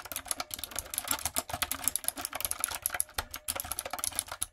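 Long coffin nails and fingertips type on a backlit, typewriter-style mechanical keyboard with round retro plastic keycaps and a hollow plastic body. A steady, rapid run of short, bright, clacky taps is heard, with a few brief pauses. Each keystroke stops almost at once, with a light, hollow plastic tone.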